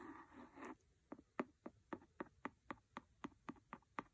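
A pencil scratches across a paper book for a moment, then taps it 12 times in a steady rhythm. Each tap is a short, dry, quiet knock with a woody, papery tone that dies away almost instantly.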